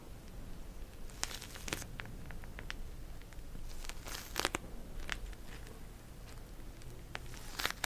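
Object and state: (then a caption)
Plastic gel bead cold pack. Long nails scratch and tap a pink plastic cold pack filled with gel beads, making soft crinkly rustling with sharp, bright clicks and crackles scattered throughout. A low, steady rumble sits underneath the quiet, close-up scratching.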